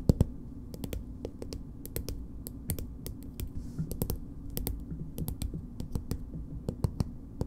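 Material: Plastic.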